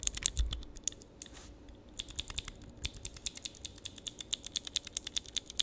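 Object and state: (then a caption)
Clicky mechanical switch tester. A small handheld mechanical switch tester, a grid of clear plastic keycaps on mechanical switches, is pressed repeatedly with the fingertips. It gives sharp, bright, clicky key presses that stop instantly. After a few scattered presses, they settle into a steady rapid run.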